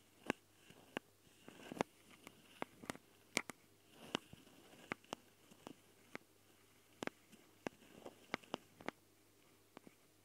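Long dark fingernails of both hands scratch and tap the metal mesh grilles on the twin X/Y capsules of a small Tascam recorder, set in plastic housings. About 18 sharp, dry clicks and taps sound close up, ringing bright around 2.3 kHz, with soft scratchy rustling between them over a quiet background.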